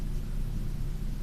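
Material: Nothing is struck.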